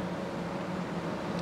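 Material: Nothing is struck.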